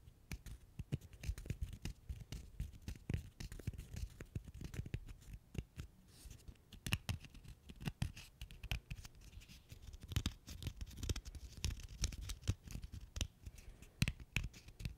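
A single small, solid, cylindrical agglomerated cork stopper is held in both hands close to the microphone while fingertips and short nails scratch and rub its surface. The result is a soft, continuous run of dry, crackly scratches and rapid little clicks. The sound is heavy in the low end, with faint bright edges on the sharper nail strokes.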